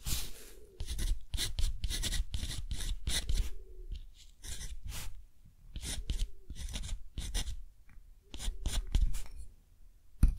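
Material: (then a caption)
Cotton paper. A metal dip-pen nib scratches across a thick, rough-textured cotton paper sheet held flat by the fingers while writing a line of text. Short bursts of dry, bright scratching come in quick clusters of strokes with brief quiet pauses between them. A soft low rumble sits underneath.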